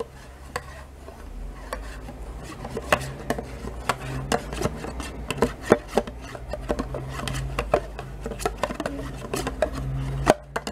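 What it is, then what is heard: Plastic yogurt cup scraped with a spoon. A metal spoon scrapes and taps against the inner walls and bottom of a small, thin, mostly empty plastic yogurt cup. The clip is a steady series of short, dry clicks and scratchy scrapes with a hollow mid-range tone, set over a faint low hum.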